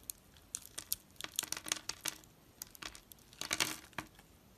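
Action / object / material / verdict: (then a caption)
scrape / gold-coated soap bar / soap / none. A knife blade cuts into an oval solid soap bar held in the palm, its gold-coated surface scored in a grid, popping off small soap cubes. About fifteen sharp, bright crackling snaps and crisp clicks come in quick irregular bursts, with almost no low end and a quiet pause between clusters.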